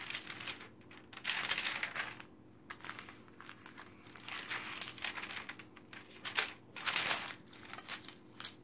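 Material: Glossy paper.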